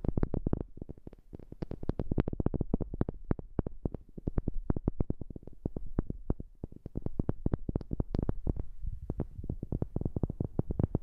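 Rapid, irregular tapping on a wooden object, recorded with a new microphone. Each tap is a short, dull, low thud that dies away almost instantly, with some taps carrying a brief bright click on top.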